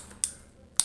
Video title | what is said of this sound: Unboxing & Review Karburator Supra/Astrea Grand Thailand, "Gajah Perkasa", beserta produk lainnya | diketok agak apa namanya, kayak ringkih sedikit